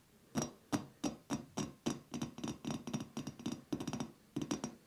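A man standing below a ceiling-mounted light fixture taps and scratches its hollow, frosted glass bowl shade with his fingertips and nails, captured by wrist-worn microphones. About eighteen quick, dull glassy knocks with a low hollow tone near 290 Hz and faint bright scratchy edges. Each one dies away almost at once.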